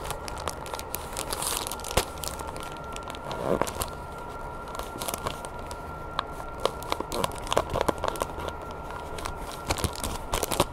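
A small package in clear crinkly plastic with a green cardboard header is held in the hands while long painted nails scratch and squeeze the plastic wrap. The result is soft, quick crinkling and crackling with sharp little clicks and taps scattered throughout, over a faint steady hum.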